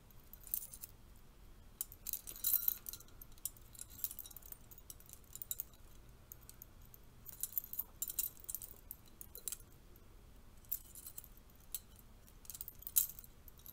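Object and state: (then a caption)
Metal curtain rings. Thin bronze-colored metal curtain rings with clips, split between two hands, are tapped and clinked together while fingernails touch the ring edges. The result is quiet, bright, tinkly jangling in scattered bursts of short metallic clicks that die away almost instantly over a soft low background hiss.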